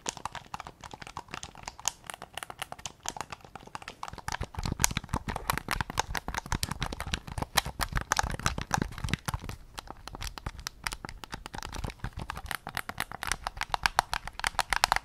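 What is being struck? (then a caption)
Plastic game controller. A white PS5 controller's hollow plastic back shell and triggers are tapped and scratched with fingertips and nails. The result is a dense stream of quick, dry clicks and scratchy rasps with almost no ring. A hollow midrange tone sits near 780 Hz, and heavier low thumps come through in the middle of the clip.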